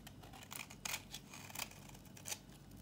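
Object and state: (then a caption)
Dry bar soap scraped with a blade. A metal utility blade scrapes a thin, solid, dry tan-brown bar of old soap held in the hand. A series of short, crisp, bright scraping strokes rises over a quiet, steady low hum, with each stroke dying away almost at once.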